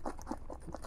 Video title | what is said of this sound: 10 Previously Reviewed Gadgets, 1 Year Later (Update #29) | you don't want to shake it around. Kind of hear it a little bit